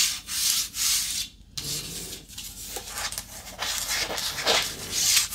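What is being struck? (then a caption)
Flat wooden paddle board. Long nails scratch along the surface of a long, flat, light wooden paddle board held solid in a lap. The result is a series of bright, hissing rubbing strokes with short pauses between passes and almost no low end.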